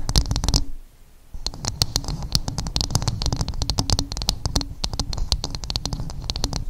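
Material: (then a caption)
Coconut shell. Long acrylic nails scratch and tap rapidly on the outer surface of a dark, rough half coconut shell resting dome up. Dense, bright nail clicks ride over a hollow, low thudding body, with a brief pause near the start before the quick tapping and scratching resumes steadily to the end.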